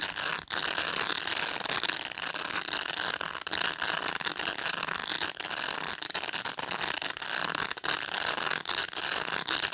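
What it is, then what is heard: Plastic pet brush bristles. Fingernails scratch through the bristles of a black plastic pet brush, making a dense, bright, ratchet-like clicking that runs steadily for the whole clip. The sound is sharp and dry with almost no low end, broken by a few brief dips.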